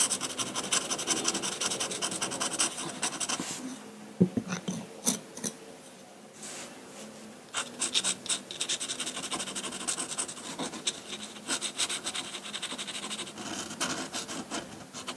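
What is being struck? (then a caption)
Paper sheet with metal dip pen nib. A metal dip pen nib on a wooden holder scratches hatching onto a large flat sheet of white drawing paper. Rapid, bright, dry scratching strokes fill the clip, easing into a quieter stretch of sparse ticks partway through before the dense hatching resumes.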